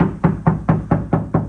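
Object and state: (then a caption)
Tinny untreated car door. Six taps on the bare sheet-metal front door of a 2025 Honda Jazz before soundproofing give quick, hollow knocks. Each has a low ring centred near 160 Hz that dies away fast. The door sounds tinny, and the ringing comes from the untreated bare metal.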